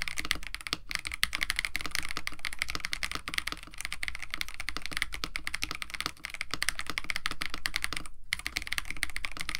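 Both hands type continuously with fingertips on a compact 65% KBD67 Lite mechanical keyboard with a white case, blue and white PBT plastic keycaps, an FR4 plate and lubed Techno Violets switches. A dense stream of short, crisp clacks centers around 2 kHz over a deeper thock, with very little ring. It pauses briefly near 0.8 and 8.2 seconds.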